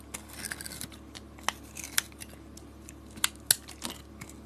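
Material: Soap.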